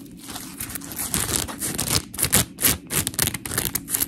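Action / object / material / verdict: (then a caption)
scrape / polymer foam scrub sponge / polymer foam / none. A palm-sized, round, solid blue polymer foam scrub sponge with textured surface and smiley cut-outs is rubbed and scratched with long pink nails of both hands. It makes gritty, crinkly scratching with bright, hissy bursts in quick, irregular strokes over a soft low rumble.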